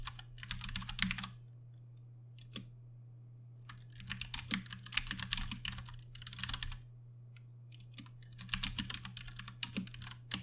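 A compact 60% Ducky One 2 Mini mechanical keyboard with plastic keycaps, Cherry MX Brown switches and RGB backlighting sits on a desk mat and is typed on with the fingertips of both hands. Bursts of quick, bright, clacky key presses come in runs separated by short pauses. A steady low hum runs underneath throughout.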